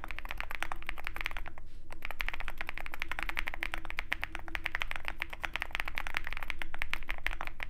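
A compact Zoom65 mechanical keyboard with a dark case and white PBT keycaps is typed on continuously with the fingertips of both hands. Rapid, uneven, short clacky keystrokes run throughout, bright and centered around 2 kHz, over a steady low hum.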